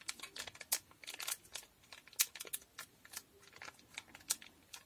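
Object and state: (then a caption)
Foil packet, tapped and crinkled. A small, sealed blue foil Durex condom packet is tapped and scratched with long nails and crinkled between the fingers. The result is a quiet, irregular run of short, crisp clicks and crackling crinkles, almost entirely high and bright, with no low end and each sound dying away instantly.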